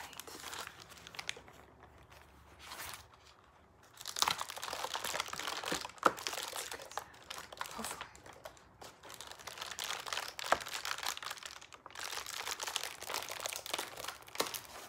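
Fingertips press, rub and crinkle the ribbed paper of a hollow, round, pleated white paper lantern with purple stars and a black plastic top ring, held in both hands. Dense, bright crackling and crinkling comes in bursts, with a quieter stretch near the start and brief pauses between handlings, plus a few sharp snaps.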